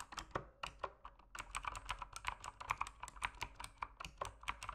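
Fingertips type continuously on a backlit mechanical keyboard with plastic keycaps, producing a steady run of about two dozen quick, crisp keystrokes. Each press is a short, bright click with a clacky midrange centered near 1 kHz and a very fast decay, heard at a soft, even level.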